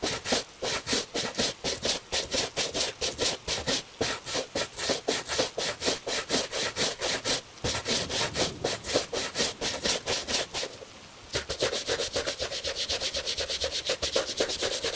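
A gloved hand brushes the upper of a tan Italian leather shoe, fitted with a wooden shoe tree, using a bristle brush to clean it. Fast, bright, scratchy strokes come about four per second, with a brief pause near 11 seconds before the quicker, denser brushing resumes.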